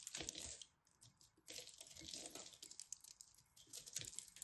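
A craft knife scrapes and cuts into a solid blue pressed soap ball, and crumbs fall off as it crumbles. Crisp, bright scratching and crackling comes in dense bursts with very little low end, broken by a brief quieter pause before the scraping resumes.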